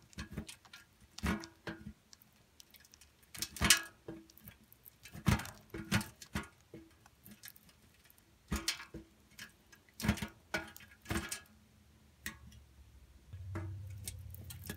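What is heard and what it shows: A solid pink bar of soap is scraped across the holes of a steel grater, with soap shavings curling through. Irregular bursts of bright, crisp rasping come in short strokes separated by quiet gaps. A steady low hum rises near the end.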